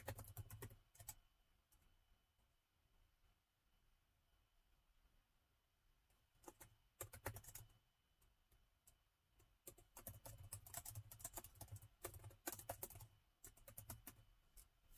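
Fingertips of both hands type on the black plastic keys of a gold laptop keyboard, giving quick, dry clicks with almost no ring. The tapping comes in uneven bursts, with a long quiet stretch early on before the busy typing resumes and continues to the end.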